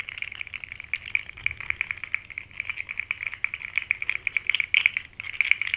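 A small rainbow segmented plastic articulated fidget slug toy is dangled from the fingers and shaken, its segments clacking together. Rapid, irregular bright clicks ring out in a dense rattling stream, each dying almost instantly, with nothing in the low range.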